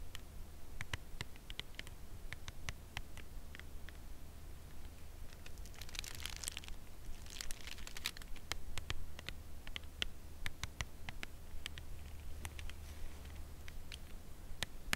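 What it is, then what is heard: Cardboard chocolate bar box. Long nails slowly and gently tap and scratch the front of a full cardboard chocolate bar box held upright in the hands. Sharp, bright clicks are spread throughout, with hissier scratching bursts in the middle, over a steady low hum.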